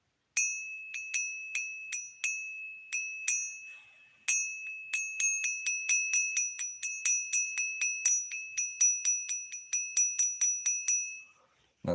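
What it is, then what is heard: Genuine silver bullion piece. A silver bullion piece of roughly 8 ounces is ping-tested with 31 rapid taps, each giving a clear, bright bell-like ring with a steady tone near 2.6 kHz and high shimmering overtones. The ringing tone sounds like real silver.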